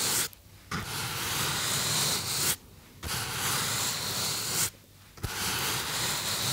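Fingertips rub and squeeze the surface of a small white polystyrene (styrofoam) foam box held in both hands, making a bright, hissing, squeaky friction sound. The rubbing comes in three long passes separated by brief quiet pauses.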